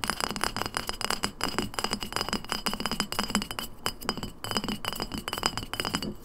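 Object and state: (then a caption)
Glass lemonade bottle. An empty glass lemonade bottle, upright and then tilted, is tapped rapidly with long nails on its glass sides, label and shoulder. The result is a steady stream of quick, bright clinks with a high ring that dies away almost instantly, with short pauses between bursts.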